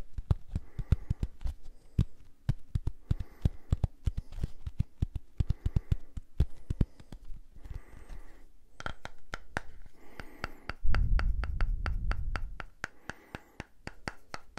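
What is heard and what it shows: A small purple silicone facial cleansing brush is held close and tapped and scratched with fingertips and nails. Dense, rapid clicks and dull taps come in short bursts, with softer scratching between them. A louder, low rumbling stretch follows near the end.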